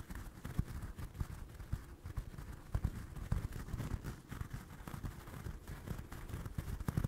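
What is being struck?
Stuffed crocheted yarn toy.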